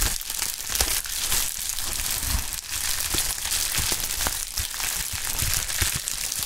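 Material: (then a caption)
Plastic. A pink plastic bubble wrap sheet held in gloved hands is crumpled, then spread out and flexed. It makes a steady, bright crinkling and crackling, broken by short sharp snaps and a soft low rustle underneath.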